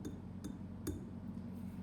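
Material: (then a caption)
Ceramic. A bisque-fired clay piece is tapped three times, each tap giving a short, light clinking "ting" that fades quickly over a low background hum. The ringing tone shows the clay has been fired, unlike the dull thud of unfired greenware.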